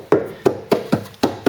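Six taps on the steel body panels of a Mk3 Ford Cortina shell, each a soft, hollow knock with a short ring centred around 400 Hz. The panels resonate cleanly, showing they are solid and free of rust or filler, and the shell is judged to be in good condition.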